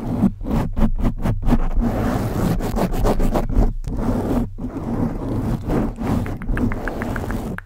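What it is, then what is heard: Foam microphone windscreen scratched. Long acrylic nails on both hands scratch and rub a black foam windscreen covering a silver USB condenser microphone. The result is a dense, muffled, low-heavy rasping and rustling in quick, uneven bursts. Brief pauses break it up, and a few light clicking taps come near the end.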